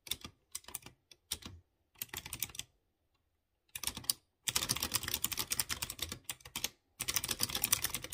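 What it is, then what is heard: Mechanical keyboard typing. Fingertips type on a light blue plastic mechanical keyboard with round chrome keycaps over clear-housed blue switches. Short bursts of bright, crisp key clicks are separated by brief silences, then give way to a longer, denser run of rapid tapping with one short pause near the end. Each press is sharp and dry with almost no ring and very little low end.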